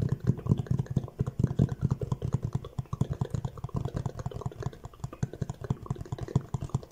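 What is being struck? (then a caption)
Cardboard box. Fingertips rapidly tap the front surface of a hollow orange Fendi cardboard gift box held at an angle. The taps are a fast, uneven stream of dull, low thumps with very little brightness. Each one dies away almost instantly.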